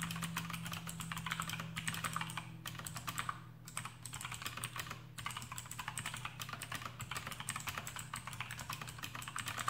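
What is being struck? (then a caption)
Plastic mechanical keyboard with clicky switches and rubber O-rings. Fingertips of both hands type rapidly on a full-size black plastic AUKEY KM-G6 mechanical keyboard with RGB backlight, its Outemu blue switches fitted with rubber O-rings, resting on a desk mat. A dense, steady stream of short, bright clicks and clacks runs throughout over a low, constant hum.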